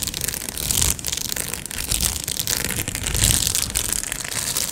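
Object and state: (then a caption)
Plastic padded mailer envelope being scratched and crinkled. A medium-size, hollow Amazon Prime padded plastic mailer is scratched with long nails and fingertips and crinkled. It makes a steady, bright crinkling and scratching texture with sharp crackles and a low rustle underneath. The sound briefly eases just before one second, then builds again and stays busy to the end.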